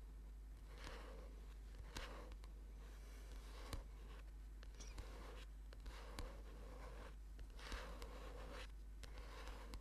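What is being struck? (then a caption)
Thick paperback book, paper with card cover. Fingernails of both hands tap on the cover of a thick orange paperback book lying flat. Soft, dry clicks and brief papery brushing bursts recur irregularly at a very quiet level. A steady low hum sits underneath throughout.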